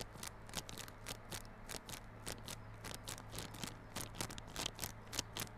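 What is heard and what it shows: Fingernails scratch the clear plastic film wrapped around a small yellow cardboard Realme Buds Classic earphone box held on its side. Quick, irregular, bright crinkly scratches repeat throughout over a faint steady low hum, each one dying away almost at once.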